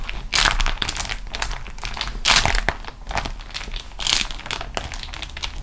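Long acrylic nails of both hands scratch and tap a thin, flexible, crinkled sheet of beeswax-coated cotton food wrap lying flat on a table. Dense, bright crinkling and crackling runs throughout, swelling into three louder bursts, with a faint low rumble underneath.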